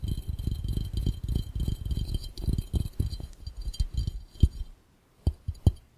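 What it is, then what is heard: Glass fishbowl. Fingertips of both hands tap quickly on an empty, hollow, clear round glass fishbowl. The result is a dense run of dull, low, thudding taps with faint bright clinks and almost no ring. It breaks into a short silence and ends with a few separate, sharper taps.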